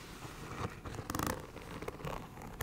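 Long nails scratch along the textured scales of an iridescent snake-scale faux leather cosmetic bag, which is soft and hollow and held from below. The result is quiet, dry rasping scratches with a ridged, zipper-like texture. Brighter bursts of scraping rise out of a low, muffled rustle.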